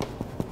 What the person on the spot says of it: It is gonna be hollow sounding when you tap it.